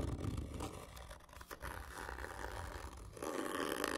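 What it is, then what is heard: Cardboard tube being scratched. Fingernails scratch hard and slowly across a large, hollow, black printed cardboard whisky gift tube lying on its side, with the other hand resting on the tube. The scratching is a continuous rough rasp over a low, hollow rumble from the tube, and it grows louder and brighter in the last second.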